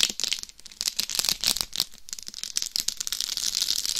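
Long nails scratch across the top and sides of a life-size binaural dummy head microphone covered in rhinestones over a hard shell. The result is a dense, irregular stream of bright, gritty scratches and tiny clicks, almost entirely high in pitch with little low end. The bursts swell and fade, each one dying away almost instantly.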